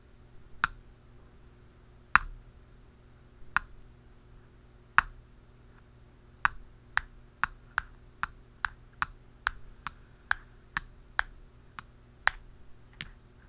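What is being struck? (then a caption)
Plastic aerosol can cap tapped with pens. Two pens, one blue plastic and one dark, tap the flat top of a hollow, round black plastic cap on top of an aerosol spray can. Nineteen short, dry clicks with a hollow mid-range knock and a bright edge die away almost instantly. The first few taps are spaced out, then they settle into a quicker, steady rhythm over a faint low hum.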